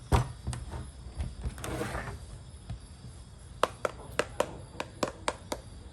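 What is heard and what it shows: A durian fruit is knocked to judge its ripeness, giving a series of short, dull knocks with a low body and a brief hollow tone that dies away almost at once. The first half is softer and busier, with a rustle near the two-second mark, and the clearer, sharper knocks come in a run over the final two and a half seconds. The verdict is that this durian is nearly ripe, a bit better than the previous one, and needs about two more days.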